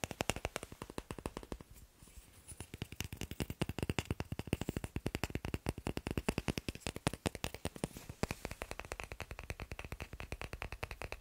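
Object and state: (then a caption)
Wooden blocks. Fast finger tapping on wooden blocks produces a steady, dense run of short, dry knocks with a low body and a bright click, each dying away almost at once. The taps continue nearly without pause across the clip, thinning briefly near the two-second mark before picking back up.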